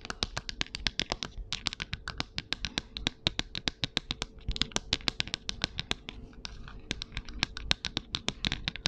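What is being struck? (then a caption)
Plastic ruler. Long acrylic nails tap and scratch across a long, flat, transparent, shatter-resistant plastic ruler, about 30 cm and solid, lying on paper. Dozens of quick, sharp, bright clicks come in a steady stream, with soft scratching between them. Each click stops almost at once, with no ring.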